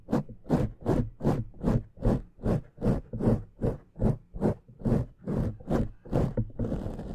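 Fingertips and nails of both hands scratch and rub a black foam microphone windscreen. It makes a steady, rhythmic series of muffled, low, scratchy strokes, roughly two or three per second. The clip ends in a continuous rubbing hiss.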